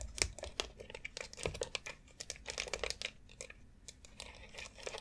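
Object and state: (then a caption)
Plastic foot massage board. Long acrylic nails tap quickly across the rounded nubs of a long white, hollow molded plastic foot massage board. They make a dense run of sharp, bright clicks with a light crinkly texture. Each tap dies away almost at once.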